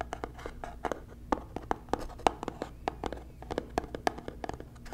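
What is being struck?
Small cardboard box.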